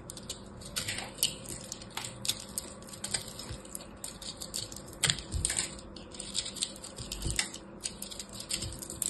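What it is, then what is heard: Crushed soap ball being scraped. A small black blade scrapes a hand-sized solid ball of pressed blue and purple soap chips held in the hand. The result is a steady run of dry, crisp crackling and crunching with frequent sharp, bright clicks and a few louder crunches, over a faint low hum.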